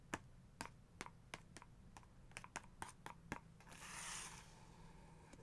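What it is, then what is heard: Paper book page tapped with nails. Long nails tap rapidly on a paper page of a photography book, open to a two-page photo spread, making about fourteen sharp, dry clicks with almost no ring. Near the end, the taps give way to a soft, bright brushing swish across the page before a few faint final taps.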